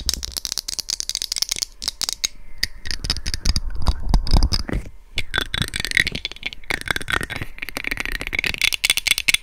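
Long red nails and fingertips grip the sides of a white hollow plastic SR3D binaural microphone casing and tap and scratch directly on it. Rapid, dense dry clicks and rattling taps mix with bright scratchy rubbing and low, boomy thumps from the housing, pausing briefly near the middle. Each tap dies away almost instantly.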